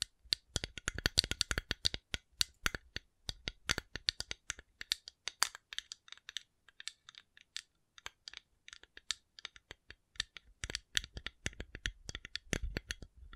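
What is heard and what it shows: A coconut shell is tapped in quick, irregular bursts of short, dry clicks over about 13 seconds. The taps are bright and crisp with a slight low thump and almost no ring, with brief pauses between flurries.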